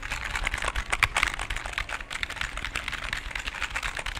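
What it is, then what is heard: Plastic computer keyboard. A full-size black and grey plastic computer keyboard with a cable is held in both hands close to the microphone while fingertips repeatedly tap and press its plastic keys. The result is a fast, steady stream of dry, bright clicks and clacks, each dying away almost instantly, with a few louder presses standing out near the one-second mark.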